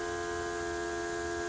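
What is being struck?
Nothing is struck.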